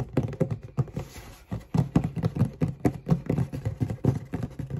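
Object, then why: Closed cardboard shoebox tapped with fingernails. Long red nails tap and scratch the lid of a closed, hollow black cardboard Converse shoebox. Rapid, irregular taps land as dull, low, hollow thuds that die away almost instantly, broken near the start by a short, bright scratching hiss.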